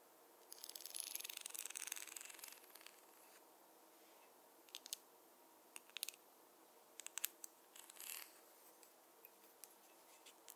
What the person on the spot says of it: the contrast between the soft hair sounds with the wooden tapping sounds